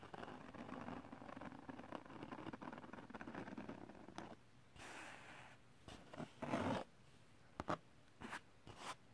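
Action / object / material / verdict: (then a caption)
scrape / glitter-coated cardstock sheet / glitter paper / none. Fingertips and short nails scratch across the textured surface of a large, thin sheet of holographic silver glitter cardstock held in the lap. For about four seconds the scratching is dense, rapid and continuous, a gritty, rustling scrape. It then breaks into quieter pauses with separate brushing bursts and a few short, sharp scratches.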